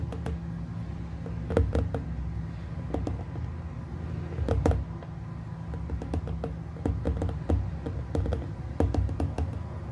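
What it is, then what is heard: Glass plasma ball globe. Fingertips of both hands tap the glass surface of a small hollow glass plasma ball globe throughout. Quick, sharp clicks and knocks come singly and in bursts over a steady low hum near 94 Hz. Each tap dies away almost at once.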